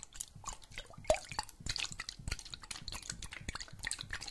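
A clear glass jar partly filled with water, with a metal lid, is tilted and shaken so the water sloshes while fingernails tap on the glass. The sound is a dense run of quick, dripping, squishy clicks and splashes with bright highs. The loudest tap, just after the first second, gives a short ringing tone.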